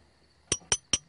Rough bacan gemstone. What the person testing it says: bunyinya bunyinya nyaring betul gak heran ya karena batu bacet ini adalah satu jenis batu mulia